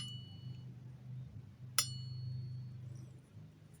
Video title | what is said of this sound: keris pusaka dengan pamor tudung mungsuh, langka, unik. | kalau kita Sentil kira-kira gimana ini nyaring sekali